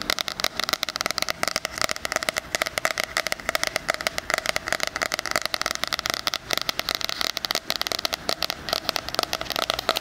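Fingernails tap and scratch across the rose-printed cardboard cover of a medium-sized 2020 weekly planner with a metal spiral binding, held upright. A dense, steady run of quick, dry clicks and scratchy rasps continues throughout, bright and crisp with almost no low end.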